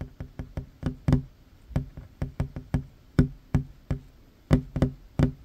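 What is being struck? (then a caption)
Wooden tabletop. The fingertips and short nails of one hand tap quickly on a solid wooden tabletop. The result is a fast, uneven run of short, dry knocks with a low, woody body and a brief click on top. Each knock dies away almost instantly.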